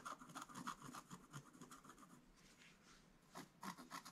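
A wooden stylus scratches lines into a flat, black-coated scratch-art page, making quick, dry, rasping strokes in an uneven rhythm. The scratching is busy at first, eases into a softer, steady rub in the middle, then returns with sharper, bright strokes near the end.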